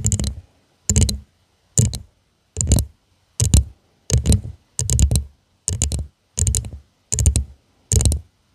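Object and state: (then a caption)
Textured glass tumbler tapped with fingernails. Long nails tap rapidly on the sides and base of a hollow purple glass tumbler with a studded, faceted surface, held upside down. The taps come in short, evenly spaced flurries, each a fast cluster of bright clicks over a dull, low thump that dies away almost at once, with silence between flurries.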